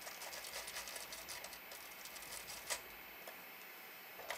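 An orange toothbrush scrubs the right speaker and front panel of a large, hollow, black plastic retro Panasonic cassette boombox while fingertips rest on the panel. The result is a quiet, steady, bright scratchy brushing on plastic, broken by a few sharper clicks.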